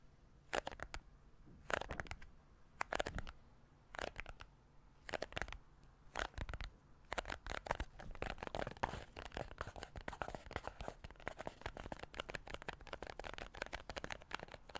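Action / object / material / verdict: tap / small printed cardboard case / cardboard / none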